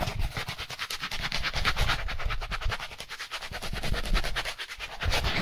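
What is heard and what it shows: A white styrofoam packaging insert, a solid foam slab, is rubbed and scratched quickly with gloved hands. Rapid repeated strokes make a continuous, dense, scratchy rasp with a heavy low rumble and bright, squeaky upper edges.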